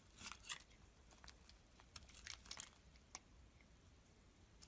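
A palm-sized, partly carved solid pink soap bar is held in the hand and shaved into thin slices with a metal utility blade. Quiet, crisp, bright scraping crackles come in short bursts, some louder than others, with very little low end between them.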